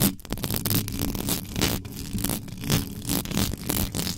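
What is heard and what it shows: Extra-long yellow nails scratch fast and hard across the bare mesh grille of a black metal USB microphone, from the top and sides. The result is a dense, continuous run of harsh, noisy scraping bursts with a heavy low-end rumble and bright rasping edges that swell and fade.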